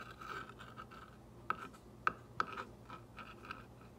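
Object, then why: Painted wooden block traced with a glass-tipped rod. A clear glass or acrylic ball-tipped rod traces and taps the white script letters on a green-painted solid wooden block sign lying on a table. Soft, quiet scratchy tracing with a faint steady mid-pitched tone is broken by a few sharp, dry taps that stop instantly with no ring.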